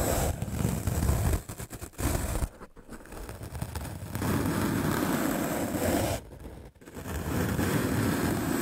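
A white rectangular magic eraser block of solid melamine foam, held in the hand, is scrubbed aggressively with a medium black-bristle paint brush. The result is a fast, dense, rough scratching and brushing noise, heavy in the low end, that runs in long bursts with brief quieter gaps between strokes.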